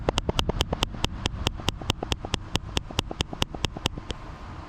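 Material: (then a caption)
Aluminium. A GoPro Hero 8 Black, loose inside a Freewell aluminum ND filter housing, is shaken left and right so the camera bangs around in the case. The result is a rapid, fairly steady series of sharp, dry clacks, each with a low knock and a bright click on top. This looseness is a flaw of the case because the rattling gets into the camera's audio; rubber or foam padding would firm it up.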